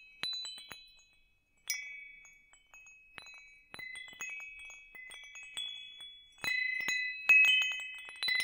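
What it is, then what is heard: Metal tube wind chime. A hanging wind chime with hollow metal tubes and a wooden top is held above the microphone and shaken while fingers tap the tubes. About 13 irregular strikes ring out as bright, high metallic tones centered near 2.6 kHz, each overlapping shimmer decaying over roughly half a second. The strikes grow louder toward the end of the clip.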